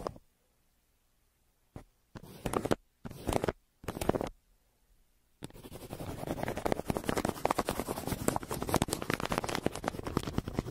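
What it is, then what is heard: Kraft paper mailer, pencil scratching. A yellow pencil scratches and shades across the surface of a brown kraft paper mailer lying flat. A few short dry scratching bursts separated by silence give way to a continuous rough, papery scraping with fine gritty detail.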